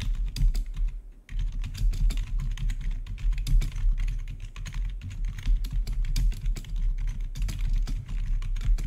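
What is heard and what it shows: Rapid typing from the fingertips of both hands on a full-size black plastic membrane-style gaming keyboard with blue-to-red RGB backlit keys. A dense, continuous stream of soft, low-heavy key clicks and thuds, briefly pausing around one second in before resuming steadily.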